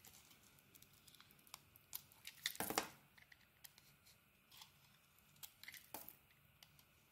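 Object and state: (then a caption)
Bar soap being scraped. A small metal blade scrapes the colored surface off a solid, palm-sized oval purple Balea bar soap with a white dot pattern, held in hand, exposing its white core. Quiet, crisp, bright scratches come in an irregular series of short strokes, with one longer, louder rasping scrape near the middle. Between strokes there is only a faint hiss.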